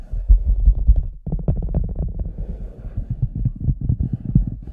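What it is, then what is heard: Large rubber boot. Fingertips and nails tap and scratch the lower sides of an oversized, hollow red rubber cartoon boot standing empty on a white table, with a microphone inside it. The result is a steady flurry of dull, booming low thumps and soft rubbery scrapes, magnified by the hollow boot. There is a brief pause just after the first second before the tapping resumes.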